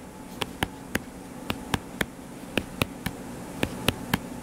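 Fingertips tap quickly on the cover of a closed hardcover paper book lying flat and solid. Twelve short, dry, crisp taps with bright clicks sound at an uneven pace over a steady low hum.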